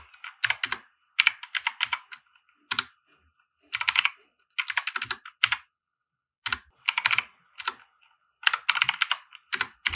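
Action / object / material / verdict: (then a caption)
tap / plastic mechanical keyboard / plastic / none. Fingertips of both hands type on a compact 60% mechanical keyboard with white plastic keycaps and RGB lighting, resting on a felt desk mat. Quick bursts of bright, clacky keystrokes are separated by short silent pauses. Each keystroke stops almost instantly, with no lingering ring.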